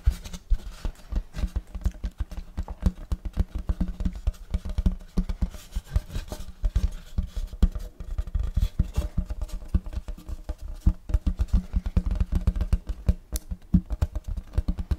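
Fingertips tap quickly across a large, flat, round wooden serving tray with a checkerboard block pattern; the tray is solid and empty. A rapid, steady stream of dull, low thuds is heard, each dying away almost at once, with hardly any bright content.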